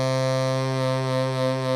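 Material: Nothing is struck.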